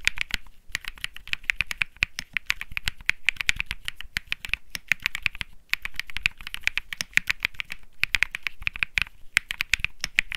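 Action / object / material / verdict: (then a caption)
tap / mechanical keyboard with plastic keycaps / plastic / none. A white Think 6.5 mechanical keyboard with plastic keycaps and Bsun Lollipop switches is typed on by one hand's fingertips. It gives a fast, steady stream of short, crisp clacks with a bright click around 2 kHz, broken by a few brief pauses.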